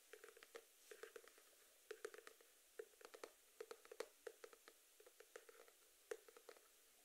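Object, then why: Small cardboard box. A small rectangular cardboard box with a blue and pink geometric print, likely hollow, is held in both hands in front of the face and tapped rapidly with fingertips and nails. About two dozen quiet, dry taps come in uneven bursts, each with a hollow mid tone near 465 Hz and a bright, clicky edge from the nails. Every tap dies away almost instantly.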